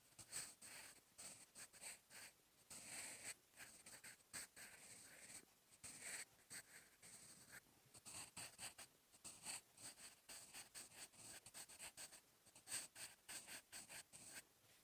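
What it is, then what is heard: Pencil writing on a paper notebook page. A sharpened wooden graphite pencil, held in the fingertips, writes handwriting strokes across a lined paper notebook page, a solid flat sheet. The graphite tip gives quiet, bright, dry scratching in short bursts, one after another with brief pauses between strokes and almost no low end or ring.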